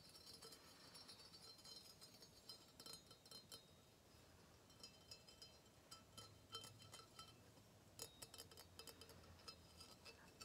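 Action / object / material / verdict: tap / small brass vase / brass / none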